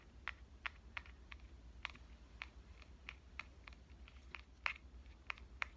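A small pink metal Canon compact camera, turned from upright to horizontal, has its front body tapped with fingernails and fingertips. Short, bright clicks with very little ring sound at an uneven pace over a low steady hum.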